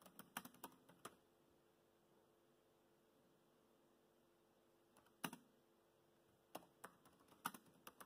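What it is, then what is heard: Plastic laptop keyboard keys. Fingertips tap the black plastic keys of a laptop keyboard while typing, giving quiet, short, dry clicks. About 15 taps fall in irregular bursts: a quick run at the start, a long near-silent pause, then a few more clusters toward the end.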